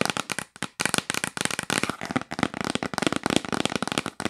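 Long nails rapidly tap and scratch the lid of a yellow printed cardboard box, which is sometimes held and sometimes lying flat. The result is a fast, dense string of dry, crackly clicks and brief scrapes with almost no ring and a bright papery edge.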